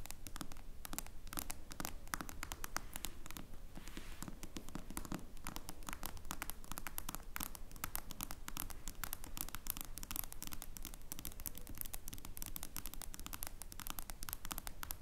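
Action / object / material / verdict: scrape / smartphone with glass screen and metal frame / glass / none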